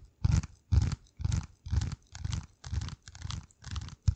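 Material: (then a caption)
Cardboard. A flat, hand-sized piece of dark corrugated cardboard is held over a microphone and scratched and tapped with the fingertips. Nine separate bursts of deep, muffled rubbing and thudding come at a steady, unhurried pace, each with a faint dry, papery crackle on top.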